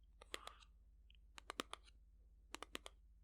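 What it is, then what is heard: Pack of playing cards. A paper pack of playing cards is tapped repeatedly, giving twelve short, crisp taps in three quick bursts over a steady low hum. Each tap is a bright, dry tick that stops almost instantly, making a pleasing little "ting."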